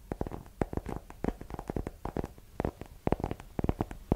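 Long nails rapidly tap a small, solid hardcover book with a yellow cover held in one hand. The quick, irregular taps are dull and low-heavy, each cut off almost instantly with no ring.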